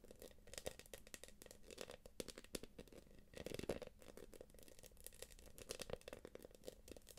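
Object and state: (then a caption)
Quilted plastic purse. Long acrylic nails scratch and tap the quilted surface of a small light-blue quilted PVC jelly purse. The result is a quiet, steady stream of crinkly, scratchy rustling punctuated by sharp, bright clicks, with a plasticky midrange tone. A denser burst of scratching comes in the middle.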